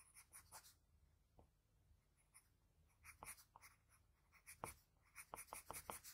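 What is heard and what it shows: A graphite pencil tip scratches along the lip line of a sketch on a flat sheet of white drawing paper. The result is quiet, dry, bright scratching strokes in uneven bursts, with clusters of short, sharp strokes toward the end.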